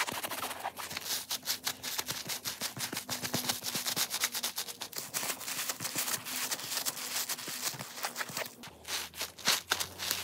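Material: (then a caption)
Foam. Gloved fingertips scratch and rub quickly over the surface of a hand-sized, watermelon-shaped foam sponge, pink with black seed shapes and a white rope loop, soft, porous and wet with some soap suds. A dense run of short, bright, crackly scratches and squishy rubs continues throughout, with a faint low hum underneath.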